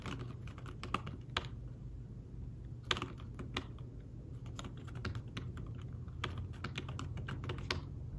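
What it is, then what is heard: Fabric-covered tablet keyboard being typed on. Fingertips type on a thin folio tablet keyboard with fabric-covered keys, producing soft, muffled taps in an uneven stream. A few strokes land sharper and brighter than the rest, over a steady low hum throughout.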